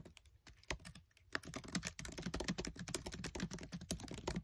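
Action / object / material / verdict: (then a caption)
tap / plastic laptop keyboard keys / plastic / none. Fingertips with short nails type fast on the black plastic keys of a MacBook Air keyboard set in an aluminium body. A rapid stream of short, sharp clicks with bright tops and a dull low thump starts sparse, then becomes dense and continuous after the first second. Each click dies away almost instantly.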